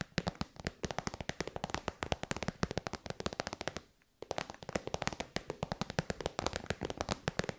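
Long white nails tap quickly on a hollow, shiny pink metallic faux-leather synthetic pouch. About 59 sharp, crisp, bright clicks come in a steady rapid run, with a brief pause near the middle. Each tap dies away almost instantly.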